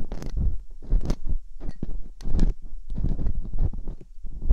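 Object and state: Silicone ear of binaural microphone.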